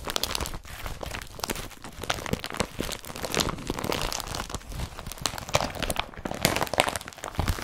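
Hands crumple and squeeze an empty IKEA BRATTBY carrier bag made of blue woven polypropylene with yellow straps. A dense, continuous run of crinkling and crunching plastic fills the clip, with bright, broadband rustles and no pauses.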